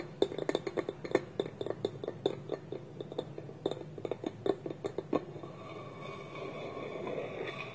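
Fingernails tap rapidly on a small, hollow, polished wooden bowl with a wooden lid held against it, making short, dry, woody knocks with a hollow mid-pitched tone and the occasional click of the lid against the rim. After about five seconds the tapping gives way to a soft, steady scratching of nails across the wood.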